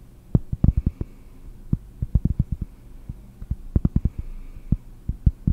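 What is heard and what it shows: A round, flat, solid cork disc is tapped with long nails while held close to the microphone. The taps are quick, dull, muffled thuds, heavy in the low end, coming in irregular bursts with no ring, over a faint low hum.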